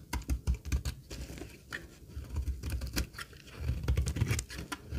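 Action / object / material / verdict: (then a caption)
scrape / laundry soap bar / soap / none. A solid dry green laundry soap bar is held in the hand while its edge is scraped with a metal utility blade, shaving off crumbly flakes. Quick runs of short, dry crackling scrapes come in uneven bursts, with a soft low thud under each stroke and brief bright ticks of falling shavings. Each sound stops dead with no ring.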